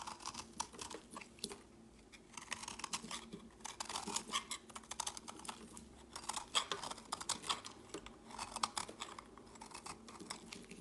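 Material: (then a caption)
Soap. A chunky, solid, speckled purple soap bar held in the fingers is carved with a metal blade, and crumbly flakes fall onto a woven mat. Quiet, dense crisp scrapes and crunchy clicks come in bright bursts, with faint pauses between strokes.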